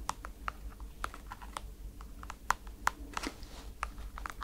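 Long nails tap the holographic strap and the sole of a white NASA rubber foam slide slipper, giving short, dry clicks centered near 1 kHz with bright tips. The taps come at an uneven, unhurried pace with a faint crinkle between some of them, over a low steady hum.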